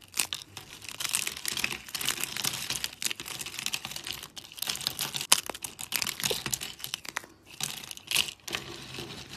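Fingers with lilac nails snap and break thin teal dry soap sheets and shards. A dense run of crisp, bright crackles and crunchy snaps continues throughout, with almost no low end and each break cutting off instantly.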